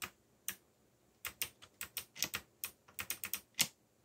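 Fingertips with short nails press and tap the plastic keycaps of a backlit mechanical computer keyboard with Korean/English legends and a yellow backlight, typing fast. Fourteen sharp, bright clicks arrive at uneven intervals, each dying out almost instantly, with short pauses between bursts.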